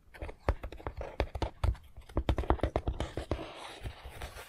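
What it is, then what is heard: Foam board puzzle model tapped with fingernails. Fingernails tap rapidly along the roof of a long, hollow Harry Potter 3D puzzle wall section built from foam-backed printed puzzle pieces, lying on a dark mat. The taps come as a quick, uneven run of short, dull, hollow knocks with a soft, low body and almost no ring, against a faint background hiss.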